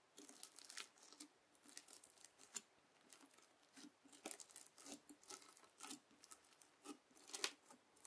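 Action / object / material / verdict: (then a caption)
scrape / slime packed with plastic beads, worked with a plastic fork / slime, plastic beads / none. A white plastic fork scrapes and pokes through red slime full of plastic beads (floam) spread on a white table. Quiet, crisp, bright crackles and patter come in quick bursts of beads crunching and popping, with almost no low end.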